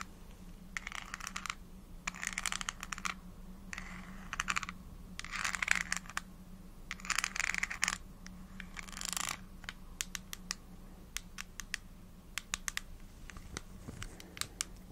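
Long acrylic nails tap and scratch the ridged pink plastic screw cap and sides of a small, hollow, translucent red plastic vitamin gummy bottle with a paper label. Bursts of bright, crackly scratching alternate with sharp, clicky taps, then a run of separate crisp taps at the end, over a faint steady low hum.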